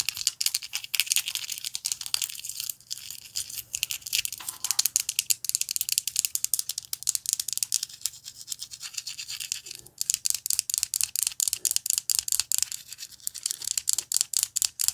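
Long nails tap and scratch a small, solid, clear ice cube held in the fingers. The result is a fast, uneven stream of sharp, bright clicks and crisp scratches, each dying away almost at once. Faint soft rustles sit beneath them.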